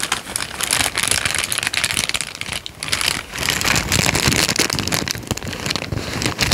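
A thin peach paper sheet, folded into a smaller bundle, is squeezed and crinkled between the fingers of both hands close to the microphone. It makes a dense, bright crackling and rustling that runs almost without pause, easing briefly just before the midpoint before picking up again.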